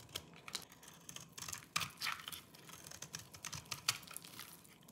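A small orange-handled knife scrapes and shaves the surface of a solid, dry lime-green soap bar held in the fingers, and the shavings pile up below. The sound is a series of quick, dry, bright scraping and crackling strokes with a crunchy texture and almost no low end. Each stroke stops abruptly with no ring.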